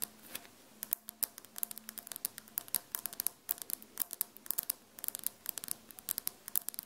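Long fingernails on both hands repeatedly scratch and tap the same large, solid glazed ceramic floor tile close to the microphone. The result is dozens of quick, bright, dry clicks and scrapes with almost no ring, over a quiet background hiss.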